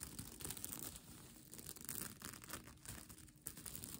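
Long nails scratch across a bunched-up plastic sequin blanket, making a quiet, continuous crinkling and rasping sound. The sound holds through the whole clip as a steady rustle with bright highs, without separate distinct hits.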